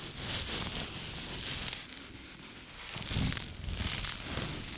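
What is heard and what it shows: A small light-blue microfiber cleaning cloth is held in both hands while the fingers rub, stretch and crumple the fabric. It makes a steady, bright, hissy rustling and crinkling with a soft low rumble underneath. The sound swells and fades over the clip, dipping quieter near the middle before rising again.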